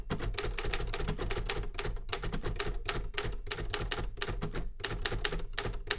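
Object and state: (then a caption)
Metal manual typewriter. A metal manual Remington Super Riter typewriter with paper loaded is typed on with fingertip taps on the keys. It gives a quick, steady run of sharp, bright clacks over a low mechanical rumble, with a faint tone around 400 Hz.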